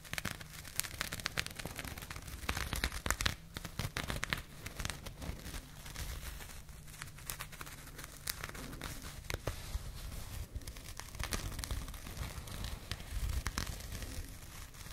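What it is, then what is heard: Burlap jute pouch being scratched. A small, soft burlap/jute fabric pouch is scratched with long nails close to the microphone. The result is a dense, continuous rasping crackle of quick, sharp scratches with bright high edges over a steady low rumble.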